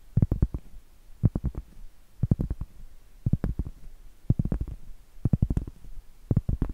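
Long light-blue acrylic nails tap and scratch the face of a large, thin, flat, round, solid cork trivet held up in the air. About seven short bursts of quick, dull, low thuds come roughly once a second, each dying away at once with no ring. Faint soft scratching sits between the bursts.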